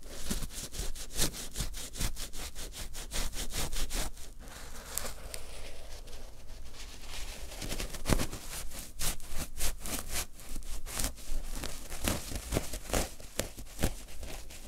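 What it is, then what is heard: Terry cloth fabric pad scratched with fingernails. Fingertips and short nails scratch and pick at the looped surface of a soft, thin, flat, cream-coloured terry cloth pad lying on a dark surface. Rapid, dry scratching strokes follow one another steadily, each a brief bright rasp that fades quickly over a low, soft bed of sound.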